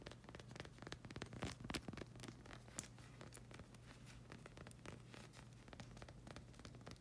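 Long red acrylic nails scratch and tap across the hexagon tread of a solid black rubber slide sandal sole held in hand. Quick, dry, uneven clicks and scraping rasps sound over a steady low hum, with a few louder bursts early on before settling into soft, even tapping.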